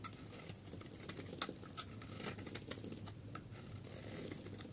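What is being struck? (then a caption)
Bar of soap scraped with a metal blade. A metal knife blade scrapes the surface of a solid rectangular yellow bar of dry soap held in the hand, and flakes fall away. The sound is a quiet, steady dry scraping with a crackly patter of bright, crisp clicks over a faint low hum.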